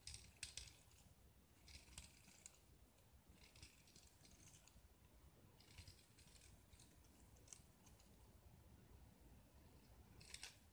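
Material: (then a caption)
Gypsum plaster. A small solid gypsum plaster block, speckled with green paint and held in hand, has a utility knife blade scraping thick white plaster shavings from it. The sound is soft, dry scraping and crumbling with bright, gritty bursts over a low, steady rumble.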